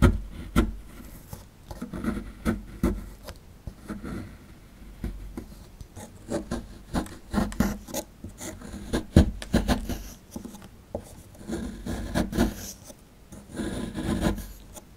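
A dark plastic chisel tool scrapes and chips at a small, solid, rectangular plaster-of-paris fossil excavation block held in one hand, working the crumbly plaster beside the embedded dinosaur skeleton as powder falls off. Dull, low rasping scrapes come in uneven bursts, punctuated by sharp, short clicks and chips that die away quickly.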